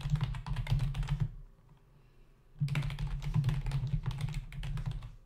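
Fingertips of both hands type rapidly on a full-size black plastic membrane keyboard with hollow keys resting on a dark desk. Quick, irregular bursts of hollow, low-pitched plastic clacks fill the clip, broken by a brief pause in the middle before the rapid typing resumes.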